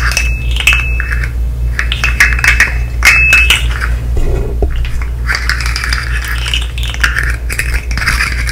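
A hand-sized articulated fidget slug made of colorful hollow plastic segments is held in the hands and worked with long nails and fingertips. Rapid, bright plastic taps and clicks run densely throughout over a steady low hum, with brief clattering rattles of the segments.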